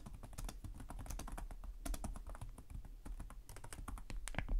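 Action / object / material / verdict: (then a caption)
tap / plastic laptop keyboard / plastic / none. Both hands type rapidly with their fingertips on the plastic chiclet keys of a black laptop with a hollow chassis. The result is a dense, steady stream of short, dry taps, each with a low hollow thud under a brief bright click, and no ringing between strokes.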